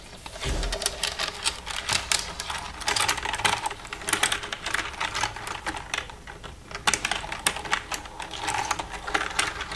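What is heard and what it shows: Long red nails tap and type on the keys of a black plastic computer keyboard. A dense stream of quick, bright plastic clicks comes in uneven flurries, each click dying away almost at once.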